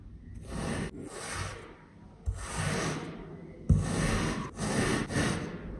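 A patterned, coated metal kitchen knife presses and slices in a grid through two flat, round, solid pressed discs of yellow kinetic sand resting on a white surface. Each stroke gives a soft, gritty scraping crunch with a bright hiss, separated by short pauses. A couple of strokes start with a dull low thud as the blade presses down.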